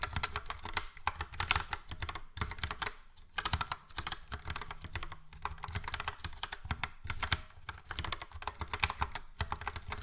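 A full-size plastic mechanical Logitech POP Keys keyboard, with a yellow frame and round dark grey and light grey typewriter-style keycaps, is typed on with the fingertips of both hands. The result is a steady run of quick, crisp keystrokes, each with a short bright click over a low plastic thud. Brief pauses break up the flow.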